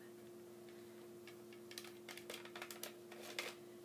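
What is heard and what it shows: A small, thin, hollow clear plastic CD jewel case with a colorful printed insert is held in both hands over a wooden table and tapped with dark-painted fingernails. Quiet, bright, clicky taps come in a rapid, uneven series over a steady low hum. The taps grow denser toward the end.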